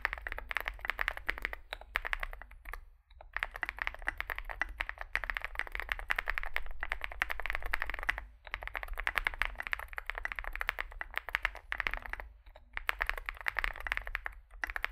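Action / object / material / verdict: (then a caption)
tap / mechanical keyboard with plastic keycaps / plastic / none. Both hands type continuously with their fingertips on a compact 65% Zoom65 mechanical keyboard with a dark case, solid build, lubed switches, foam filling and white/grey SA-profile plastic keycaps, resting on a desk mat. A steady stream of rapid, short clacky keystrokes fills the clip with a bright mid-high tone, broken by a few brief pauses.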